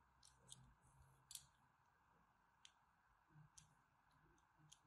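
A small, solid pale green "Absolut" soap bar, held in one hand with long white nails, is scored and scraped with a thin metal blade, leaving shallow cuts across its surface. Seven quiet, crisp, bright scraping clicks sound apart over a steady low hiss, each dying away almost at once.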